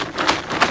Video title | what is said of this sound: How to make your own vegetable seeds at home ? - seed bank - Seed Starting 101 | once it is completely dry you can hear the seeds inside the vegetable when you shake it